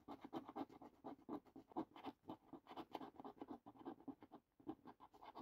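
A coin edge scratches quickly across the lower panels of a thin cardboard paper lottery scratch card lying flat on a table. The result is a quiet run of rapid, irregular rasping strokes, each a short dry burst centered in the midrange with some brighter grit. There is a brief pause near the end before the scratching resumes.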